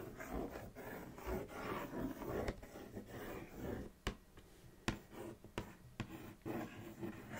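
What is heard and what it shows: Long acrylic nails trace and scratch over the front print of a large, flat Kellogg's Froot Loops printed cardboard box lying on a knit blanket. Soft, papery rubbing and scraping fill the first half, then five sharp, short clicks stand out over the quieter scratching.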